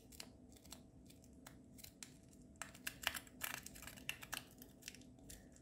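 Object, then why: Chocolate egg in aluminium foil wrapper. A small hollow Kinder Joy-style chocolate egg in a printed aluminium foil wrapper is held in both hands while fingertips and short nails pick and scratch at the foil seam before unwrapping. Quiet, bright, crisp crinkling and sharp scratchy ticks sound in a dense, uneven string, with a louder cluster of crackles in the middle before it settles back to light picking.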